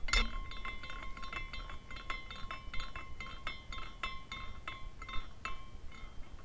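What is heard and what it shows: A small clear glass carousel ornament spins after a turn by the fingertips, and its glass horses tinkle and clink in a quick, irregular run of light, bright taps. A faint steady ring hangs beneath the clinks, which stay quiet and short throughout.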